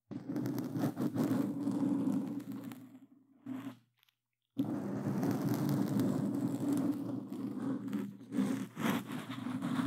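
Plastic claw gloves scratch a black foam microphone cover on a Blue Yeti, making a dense, rustling, crackling scrape with a strong low hum underneath. The scratching fades out and falls fully silent for about half a second near the four-second mark, then resumes just as thick and steady to the end.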